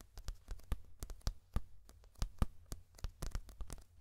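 Fingertips and short nails tap and scratch across the black-bordered printed paper pages of a thick paperback puzzle book held open upright close by. The result is a rapid, irregular series of short, dry taps and scrapes with a deep low thump in each hit, bright papery edges and almost no ring.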